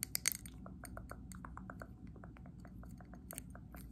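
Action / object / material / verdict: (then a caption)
tap / glass candle jar filled with wax / glass / none. Long acrylic nails tap and scratch the glass sides and label of a medium WoodWick glass candle jar filled with green wax. Quick, bright, dry clicks and ticks come in a fast, steady patter with brief scratchy strokes, over a faint low hum. The louder taps cluster at the start.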